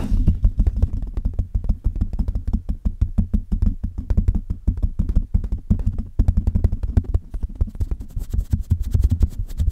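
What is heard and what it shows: Long red-painted nails on both hands rapidly tap and scratch the hollow metal mesh grille of a silver Blue Yeti USB microphone with a metal body. The result is a dense, continuous stream of short, dull, boomy thuds that are heavy in the low end with almost no bright content, each dying away almost instantly.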